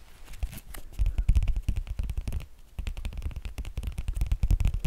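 Fingertips and nails tap and scratch the thick, glossy laminated cardboard cover of a small shaped Sesame Street board book, "Splish Splashy Day," held in the hands. Rapid, dull, dry taps with a low thump and a light scratchy edge come in dense bursts, pausing briefly near the middle before resuming.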